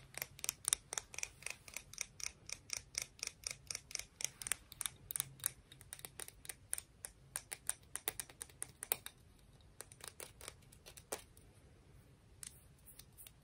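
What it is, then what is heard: Conch shell tapped and scratched. A conch shell is tapped and scratched, producing a quick run of crisp, bright clicks with almost no ring. The clicks come in an uneven rhythm with short pauses, mostly high in pitch over a faint low hum.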